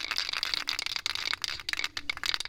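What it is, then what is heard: Spray paint can with loose mixing ball. An aerosol spray paint can with a mixing ball is shaken before painting the valve covers of a 1972 Chevy Cheyenne, after being stored upside down so the settled solids can remix. Quick, bright metallic clicks and rattles run steadily throughout with almost no low end. The loose rattle shows the ball is free and the paint is blending properly.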